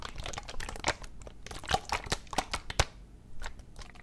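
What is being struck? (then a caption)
Plastic medicine bottle partly filled with liquid. A medium plastic NyQuil medicine bottle with a white cap, partly full of yellow liquid, is held in one hand with the fingertips gripping it and shaken so the liquid sloshes. Quick crinkly, crackling taps and sloshes come in a dense irregular stream, bright and short, with a low rumble underneath. A brief quiet stretch follows before a few softer taps end the clip.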